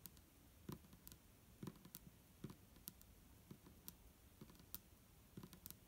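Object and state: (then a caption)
Plastic bottle tapped with fingernails. Long fingernails on both hands tap the sides of an upright, clear, hollow plastic micellar water bottle with a green cap and liquid inside. The result is a quiet, irregular run of short, dry clicks with bright ticks over soft, low thuds, each dying away almost instantly.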